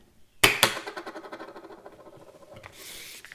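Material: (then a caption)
CR-39 plastic. A +1.50 CR-39 plastic eyeglass lens, thick with a matte edge, is tapped or dropped and gives a hollow, bright plink. Two sharp hits ring out, followed by a run of quick fading ticks and a soft hiss near the end. This is the normal hollow sound expected of CR-39 plastic.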